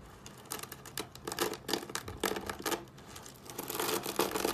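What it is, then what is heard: Dry, brittle soap curls. Fingertips press, crush and scrunch a pile of thin, dry, brittle curled soap shavings in pink, green, white and yellow on a wooden table. Irregular bursts of bright, crisp crunching and crackling come and go in quick flurries over a quiet background, with little low end.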